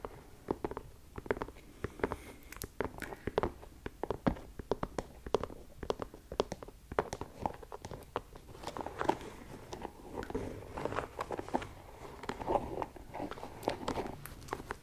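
An empty white leather sneaker is held up close while long nails tap and scratch across its leather upper and lace area. The result is a dense run of quick, dry clicks and taps mixed with soft scratching rustles, with sharp, short peaks throughout the clip.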